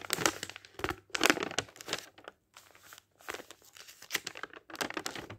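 Fingertips of a ringed hand turn and brush the thin printed paper pages of a thick open dictionary. The result is crisp, bright crinkling and rustling in quick bursts with brief quiet gaps and almost no low end.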